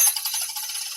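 An untreated metal coin, with no Dynamat on its back, is dropped onto a table, unlike its Dynamat-treated counterpart. It gives a bright, high-pitched metallic ring concentrated above 2 kHz that shimmers and rattles through the whole second without dying away.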